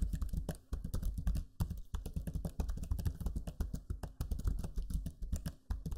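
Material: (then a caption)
Plastic. Fingertips type steadily on the low-profile plastic keys of a backlit black Lenovo Legion 5 laptop keyboard. The result is a rapid run of soft, dull clicks with a low, muffled body and very short decay, broken by brief pauses between bursts.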